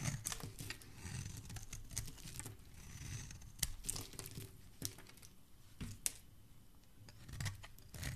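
A metal blade shaves thick curls from the edge of a solid blue oval bar of soap held in a hand with dark-painted nails. The repeated strokes make dry, crinkly scraping and tearing sounds, with sharp, bright clicks over a low rumble.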